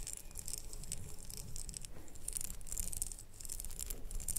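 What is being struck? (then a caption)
Small ribbed glass jar filled with wax. Long nails on both hands tap rapidly over a small red ribbed glass candle jar with a lid, likely filled with wax. Quick, bright clicks patter continuously over a soft low rumble, each tap dying almost instantly with no ring.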